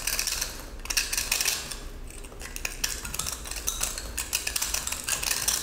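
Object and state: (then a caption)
Pressed salt block scraped with a blade. A utility-knife blade repeatedly scrapes and slices crunchy salt off a small, solid but crumbly cylindrical pressed salt block, with blue and green salt inside a glitter crust, held in the hand. The result is a rapid run of bright, gritty scrapes and crisp crunches that die away almost at once, with a faint low rumble beneath.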